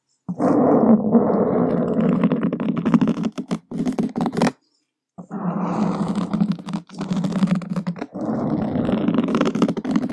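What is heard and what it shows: Two wooden skewers scratch across a black foam microphone windscreen, making a dense, close-up scraping rasp with a steady low-mid, almost growling tone. The scratching runs continuously, stops for about half a second to silence, then picks back up with the same rough texture until the end.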